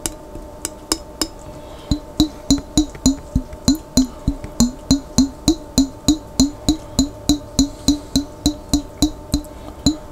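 A glass jar holding water is tapped in a steady, continuous run of 31 short, resonant knocks, about three per second. Each tap gives a hollow, pitched tone near 266 Hz with a bright click on top and dies away quickly. A low, faint hum sits underneath the taps.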